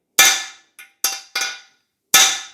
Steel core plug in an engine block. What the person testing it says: You can hear the firm sound. Then it's sealed in.